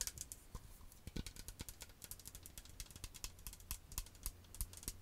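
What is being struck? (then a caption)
Plastic cosmetic bottle. Long acrylic nails tap on the front and base of a medium green plastic cosmetic toner bottle with a white cap, partly filled with liquid. A rapid, irregular stream of crisp, bright clicks sounds over a faint low hum, each tap dying away almost at once.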